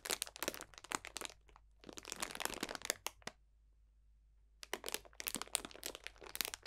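A clear cellophane bag full of dried potpourri botanicals is squeezed and crunched with both hands, giving dense, bright crackling and crinkling in quick sharp bursts. The crunching comes in three stretches, with a short pause before the second and a silent gap of about a second before the last.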